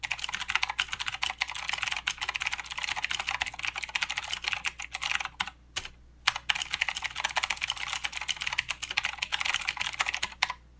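Both hands type with their fingertips on a full-size mechanical keyboard with plastic keycaps and blue clicky switches. The result is a dense, steady run of sharp, bright clicks with almost no low end. Two brief pauses near the six-second mark and one near the end break up the rapid clatter.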